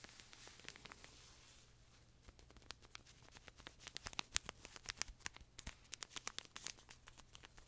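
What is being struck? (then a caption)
Pocket tissue pack in thin plastic film. A small, colorful pocket tissue pack, soft and full of paper tissues in a thin plastic film wrapper, is held in both hands close to the mic and squeezed, crinkled and scratched with fingertips and nails. Bright, crisp crackles and sharp ticks come over a faint low hum, sparse and soft at first, then denser and louder from about three and a half seconds on.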